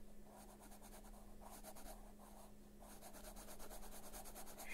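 A dark colored pencil held in fingers shades a flat paper coloring book page lying on a surface, its lead tip rubbing and scratching in continuous back-and-forth strokes. The quiet, dry scratching comes in rhythmic bursts of bright, papery hiss over a steady low hum.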